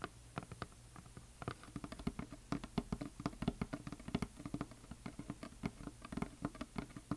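Fingernails tap rapidly on a solid, painted wooden heart plaque with glitter paint, then a flat hand rubs across its surface and fingers work along its top edge. The taps are short, dry and quick-decaying, with a hollow low-mid body over a faint steady low hum.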